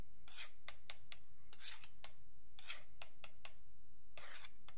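A thin metal pick or needle scratches along the top edge of a long, flat, solid wooden yardstick while fingertips steady the ruler. Repeated short, bright, raspy scraping strokes of uneven length come one after another over a faint low background hum.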